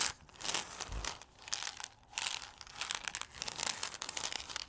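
A white paper cup with gold stripes, hollow and probably holding a few coffee beans, is held in both hands while fingertips and nails scratch and rub its outer wall. The sound is a steady run of bright, dry crinkling and scratching bursts with almost no low end, rising and falling in short waves.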